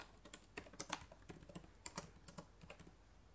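Fingertips and long nails type on the plastic keys of a black laptop keyboard. About thirteen quick, dry clicks and taps sound separately, each bright and short with almost no ring, at a soft level.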